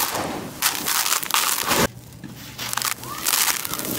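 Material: Concrete.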